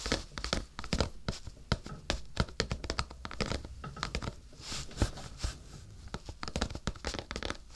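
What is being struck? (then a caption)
Cardboard tissue box. Fingertips tap and scratch the sides and top of a rectangular printed cardboard tissue box, yellow with a lily pattern, hollow and apparently full of tissues, held in both hands above a binaural microphone. Rapid, dry taps land with a dull low thump and quick bright crackle. Short scratchy rustles fill the gaps, and each tap dies away almost at once.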